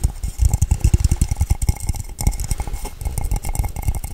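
A blue hollow metal tumbler held in the hand is tapped quickly with long nails on its base and sides. The rapid, continuous taps sound dull and thumpy, each dying away almost instantly with a faint bright click on top.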